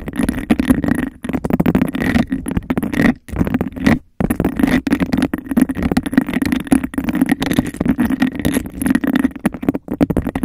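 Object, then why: Textured glass cup. Long nails scratch and tap fast around the rim and sides of a clear, empty, textured glass cup held over the mic. The dense, rapid scraping and clicking has a hollow, resonant tone centered around 260 Hz, with a faint bright edge. It runs almost without pause, apart from two brief silences near 3 and 4 seconds.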